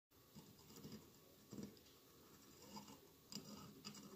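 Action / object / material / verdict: tap / glass votive holder covered in small glass mosaic tiles / glass / none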